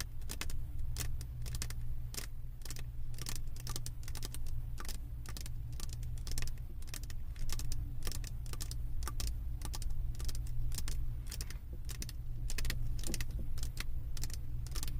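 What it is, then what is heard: Resin diamond painting canvas. Long acrylic nail tips tap rapidly and irregularly on the resin drills of a flat diamond painting on a canvas board. The taps make short, bright clicks with almost no ring, over a steady low hum that fills the whole clip.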